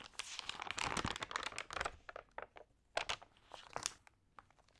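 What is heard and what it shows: Long painted nails and fingertips turn and crinkle the thin, lightly water-sprayed glossy pages of a single open printed magazine lying on a yellow table. A dense burst of bright crinkling and rustling fills the first two seconds, then thins into scattered sharp, crisp crackles with quiet gaps between them.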